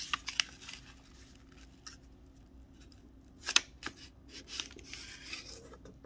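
Fingertips and a fingernail run along the fold lines of a thin snowflake wrapping paper sheet with a kraft back, partly folded and lying flat, rubbing and creasing it. Sharp, bright crinkles and short scratchy ticks come in quick bursts near the start and again past the midpoint, with soft papery rustling between them.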